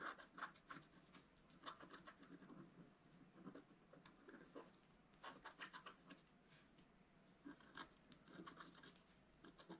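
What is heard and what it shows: A wooden stylus scratches leaves and a figure into a flat scratch art paper sheet with a black coating. Quiet, bright, raspy scratching strokes come in irregular bursts with short pauses between them.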